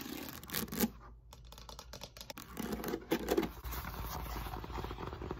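Long nails scratch and tap the beaded surface of a solid, textured foam roller made of molded polyethylene foam, held at an angle. The result is a quick, dry run of rasping scratches and soft, dull taps with almost no ring.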